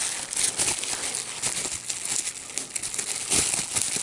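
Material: Plastic.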